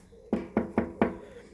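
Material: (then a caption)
Fiberglass. Four dull, short knocks on the fiberglass front moulding and door of a prototype A-size post box whose back is cast iron, one of ten made as an experiment to cut weight and manufacturing cost. Each tap is a low, quickly damped thud centred around 230 Hz with almost no ring or high-frequency content.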